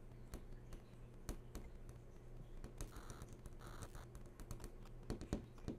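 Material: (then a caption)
Glass. Long nails tap rapidly on the glossy surface of a large, switched-on flat-screen TV. Quick, sharp clicks come in an uneven stream, with a few louder taps near the end, over a steady low hum.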